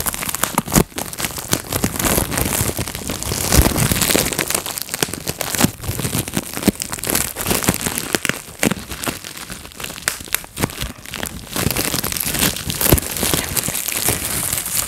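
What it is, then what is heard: Plastic bubble wrap being popped. A clear plastic bubble wrap sheet is gathered in the hands while fingertips pop its bubbles in rapid sequence. Sharp, dry snaps with a bright crackle tumble over a constant crinkling rustle of plastic for the whole clip. The pops come too thick and fast to count.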